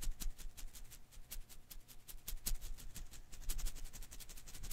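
A hand-sized blue and green rubber-filament Koosh ball is held in one hand while fingertips and nails rub and flick its strands. Quiet, irregular, bright ticks and rustling snaps repeat throughout over a faint low hum.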